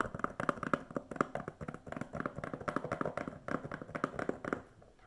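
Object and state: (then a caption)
Plastic DVD case. A standard plastic DVD case, hollow and thin with a film sleeve under its clear cover, is held upright and tapped and scratched with long nails. It makes a rapid, uneven run of dry, hollow clicks and light scrapes that die away almost at once, with a midrange tone around 1.2 kHz and little low or high content. The tapping softens and trails off in the last half second.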